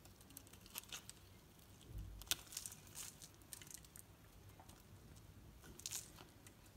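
A metal knife carves shavings from the surface of a solid green painted bar soap with an orange edge, held in the hand. Quiet, crisp scraping and crunching strokes come in bright bursts with a soft, low thud near the middle. Each stroke ends almost instantly.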